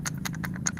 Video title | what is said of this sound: LIVE STREAMING CIK RADEN PRADANA KUSUMA PEMBUKTIAN NYATA PUSAKA BUNDA RATU KIDUL | tapi dalamnya ini ada ada bunyinya